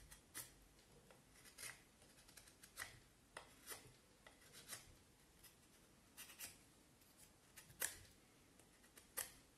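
A knife carves and scrapes the end of a solid vine wood stick held in the left hand, working in short cuts. About fourteen quiet, bright, dry scrapes and snips come at an irregular pace, each dying away at once with no ring. A faint hiss fills the gaps between them.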